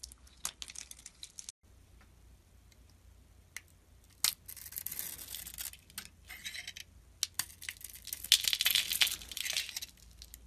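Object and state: Bar of soap being shaved.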